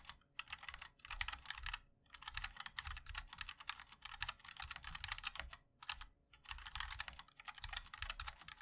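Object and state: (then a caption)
Mechanical keyboard being typed on. A 60% mechanical keyboard with a black aluminium case, white and black ABS keycaps and linear switches is typed on continuously with the fingertips of both hands. Bursts of quick, bright, clicky taps with almost no ring are separated by short pauses, over a faint low thump beneath each keystroke.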